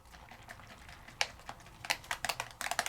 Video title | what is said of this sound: 609 Saturday with Stacey Craft Class Use new Decor Transfers & Alcohol Inks to make stunning gifts | So you wanna shake it until you can hear that marble or ball rolling around, because that's mixing the ink and the mica together.